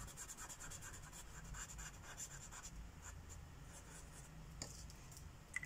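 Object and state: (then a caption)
Marker coloring on a paper page. A purple felt-tip marker, a Sharpie, rubs back and forth across a thin white coloring-book page resting on a wooden table, filling in a petal. The result is a continuous soft, bright scratching and rubbing over a low, steady hum. Two sharper ticks stand out near the end.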